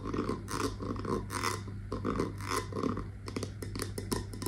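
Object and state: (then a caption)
Glass candle jar with metal lid. A wax-filled glass candle jar with a brown metal lid is tapped and scratched with long nails on the lid and base. Rhythmic raspy scratching strokes come first, followed by quicker, sharper taps over a steady low hum.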